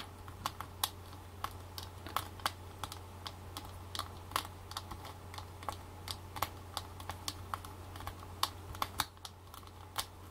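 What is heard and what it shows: Long black fake nails tap and scratch the lid of a small, round Maybelline Stay Matte powder compact made of clear and white plastic, held in the hands. The result is a quick, irregular run of sharp, bright plastic clicks that each die away almost instantly. A steady low hum runs underneath throughout.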